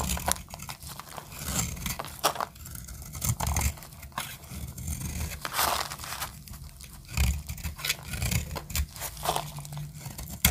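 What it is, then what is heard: Dry soap bar cut with a blade. A solid, light-green oval bar of dry soap is held in the hand and cut with a metal utility blade. Repeated short, dry crunching and scraping strokes carry a low, thumpy body under a crisp, bright crackle. Crunchy flakes break off the bar with each cut.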